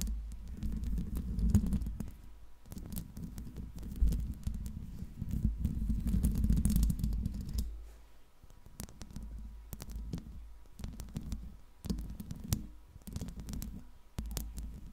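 Long pink acrylic nails tap and scratch the hollow silver metal mesh grille of a Blue Yeti USB microphone. The result is a rapid, uneven run of dull, bass-heavy thumps and rough scratching with very short decay. It eases off briefly in the middle before the tapping picks back up.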